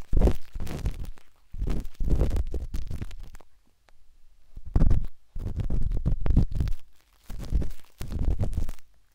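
A metal-tipped dot stick with a wooden handle scratches inside the soft, hollow canal of a pinkish-white silicone ear on a binaural microphone. The result is bursts of close, muffled, low rumbling scrapes separated by brief quiet gaps.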